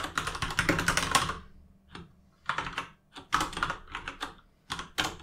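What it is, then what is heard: Plastic mechanical keyboard. A plastic RGB mechanical keyboard with plastic keycaps is typed on with the fingertips of both hands, producing bursts of quick, bright clicking key taps separated by short pauses. The clacks are crisp and short, with a mid-range body and little low thump.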